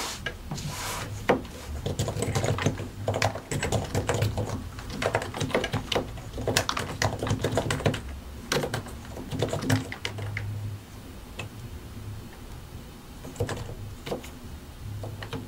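Both hands type continuously with the fingertips on a solid white and grey plastic mechanical keyboard, pressing and tapping the keycaps over their switches. Quick, dry clacks with a deep low thud come in busy bursts, then thin out to sparse taps before picking up again.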